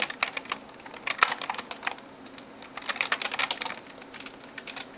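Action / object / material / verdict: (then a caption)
tap / plastic computer keyboard / plastic / none. Fingertips and nails type on the keys of a backlit plastic gaming keyboard. Quick, bright, dry clicks and taps come in irregular bursts, busiest around the first and third seconds, with no low end and almost no ring after each strike.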